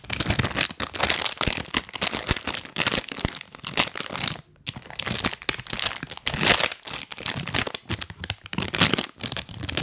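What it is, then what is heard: Plastic snack bag. A full printed plastic cookie bag held close to the mic is crinkled and scratched with rubber toy hands worn on the fingers. Dense, bright crackling and crinkling rustles continue throughout, broken by a brief silence just before the halfway point, with short sharp crunches rising out of the steady scratching.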